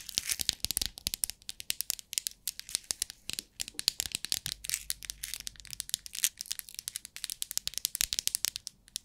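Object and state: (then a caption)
Clear plastic bead organizer box. Long acrylic nails tap and scratch the lid of a small, rectangular clear plastic compartment box, a hollow bead organizer partly filled with loose beads, while the hands hold it. A rapid, uneven run of dozens of sharp, bright clicks and scratchy crackles plays with almost no low end, each tap dying away instantly.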